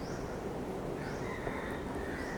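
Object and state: Nothing is struck.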